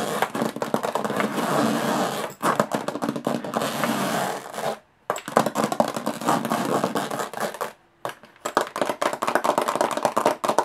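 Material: Aluminum.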